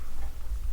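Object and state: Nothing is struck.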